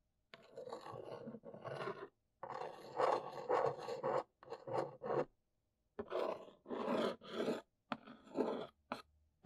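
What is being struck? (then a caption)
Corrugated cardboard box. Long pink nails trace and scratch across the top of a large, hollow, brown corrugated cardboard box with NEEWER print, lying flat. The result is a series of dry, rasping scratch strokes in separated bursts, with a papery midrange body and bright, hissy edges.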